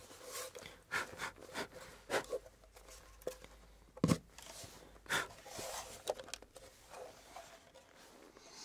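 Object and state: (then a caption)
Antique wooden box. A small rectangular antique wooden box, apparently closed and hollow, is held in both hands and turned over while fingertips rub and brush its wooden surface. Soft, scratchy brushing strokes come in short bursts with a faint hollow resonance, and a louder, duller knock stands out about halfway through. The sound stays quiet and close overall.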